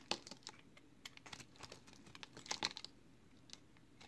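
A solid green and yellow multicolored recycled soap bar is held in one hand while its edge and face are shaved with a box cutter blade. The result is a quick series of crisp, bright scraping clicks, around fourteen short distinct hits, with dry crinkly flaking between them and little low end.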